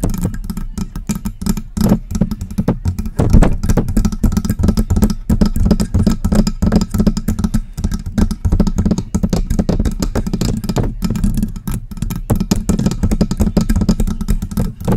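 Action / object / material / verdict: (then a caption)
tap / metal desktop microphone / metal / none. Long press-on nails tap rapidly on the front of a silver metal USB desktop microphone with a hollow body. The result is a dense, continuous patter of short, dull knocks with a low, hollow resonance around 176 Hz and little high-end content.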